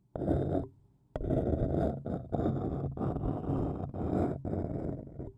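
A thin wooden stick scratches the outer wall of a small, hollow, empty white printed paper cup standing upside down. It produces dense, rough, grating scrapes with a dull, low-heavy body, in bursts separated by short pauses and one longer gap near the start.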